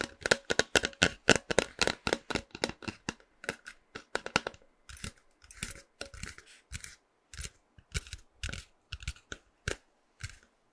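Fingernails tap and scratch a tall, hollow, printed cardboard snack can held in the hand close to the microphone. A rapid run of crisp, dry, papery taps comes fast and dense at first, then thins into sparser, irregular bursts of scratching. Each tap is bright and dies away almost instantly.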